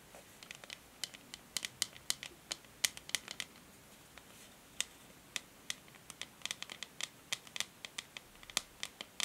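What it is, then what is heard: Plastic hair brush back. Long nails tap the hollow shell of a grey matte plastic paddle hair brush's back as it lies on a table. The result is a quiet, irregular run of many sharp, dry clicks, bright and high with almost no low end, each dying away instantly.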